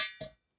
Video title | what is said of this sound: Comment protéger son échappement | tant que ça sonne comme ça